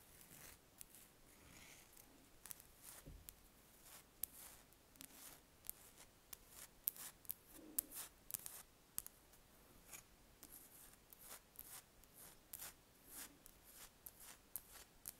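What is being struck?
Large spherical wax candle.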